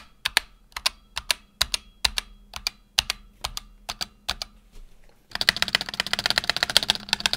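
A single fingertip presses individual keys on a black tenkeyless Razer Huntsman Tournament Edition keyboard with PBT plastic keycaps and optical switches. Each press gives a crisp, bright, short double click with almost no low end, spaced evenly at first. After about five seconds the keys are tapped rapidly in a dense, continuous clatter.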